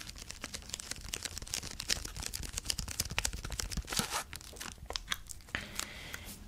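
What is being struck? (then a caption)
Plastic candy bar wrapper. A full king-size Kit Kat bar in its plastic wrapper is held in both hands while fingertips crinkle and rub the wrapper. Dense, bright, crackly crinkles and short tearing sounds run throughout over a faint low rumble, as if the wrapper may be starting to be opened.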